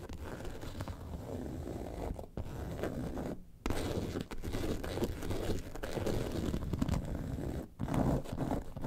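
Long nails scratch across the top of a yellow and white faux leather bag lying on a table. They make a steady, dull, low rasping scrape with brief pauses, most clearly at about 3.5 seconds.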